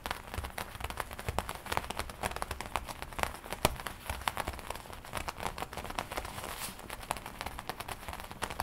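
Long nails tap and scratch the black leather front panel of a worn black and red studded leather biker jacket. The result is a steady run of quick, sharp, dry taps mixed with soft scratchy rustling, each tap dying away almost at once. Bright clicks sit over a low, dull undertone.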